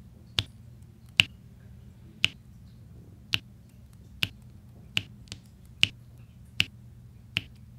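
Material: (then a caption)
Resin. A pink plastic drill pen taps small solid resin drills into place on a large flat diamond painting canvas with an adhesive backing, while a white plastic roller presses and scrapes across them. Ten sharp, bright clicks ring out at uneven intervals, each ending almost instantly, over a low steady hum.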